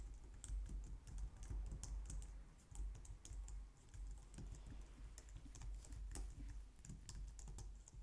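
Long nails and fingertips type quickly on a compact, low-profile white plastic computer keyboard. A dense stream of short, bright key clicks and clacks rides over a steady low hum, and the typing stays quiet throughout.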